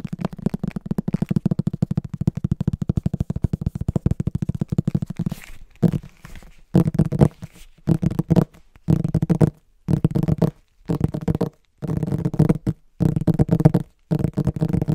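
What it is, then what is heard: Hardcover book. Fingertips and short nails tap and scratch the back cover of a large, solid green cloth-and-paper hardcover book. A steady stream of rapid, dull, low thuds runs for about five seconds, then breaks into short bursts of quick tapping and scratching separated by brief silences. Each tap dies away almost instantly, with no ring.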